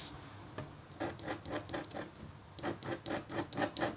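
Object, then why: Black-coated copper foil scratch art sheet scratched with a metal stylus. A red-handled stylus with a metal tip, held in the fingertips, scratches a flat black-coated copper foil scratch art sheet lying on a table, partly covered by white paper. It makes 13 short, dry rasping strokes in an uneven rhythm after a quiet start. Each stroke has a bright, papery edge and fades almost instantly.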